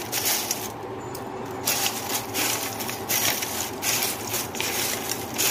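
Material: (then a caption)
Fried flatbread. Fried stale chapati pieces tossed with Maggi masala, chaat masala, salt and chilli powder are shaken in a container, giving a bright, crisp rattling and clinking in uneven bursts. The sharp, high-pitched clatter shows the pieces are crunchy and nicely crisp.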